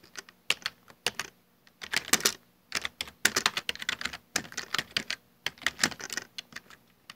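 Fingertips type continuously on a full-size black plastic Dell desktop keyboard with hollow keycaps. Bright, dry keystroke clicks come in rapid bursts separated by short pauses, and each tap dies away almost instantly.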